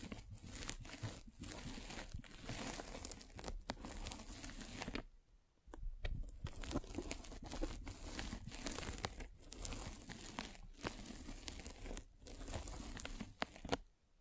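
A metal-spiked derma roller is rolled back and forth over a white polyethylene foam mesh net stretched over a microphone. It makes a dense, crackling, crinkly scratching with a low rumble beneath, broken by brief pauses between passes.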